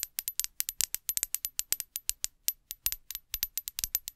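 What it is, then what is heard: Glass perfume bottle tapped with nails. A small, clear glass perfume bottle with a metal cap, hollow and partly filled with liquid, is held near the microphone and tapped with long acrylic nails. Around thirty quick, bright clicks and taps come in an irregular rhythm, each ending almost instantly with a faint high glassy ping and very little low end.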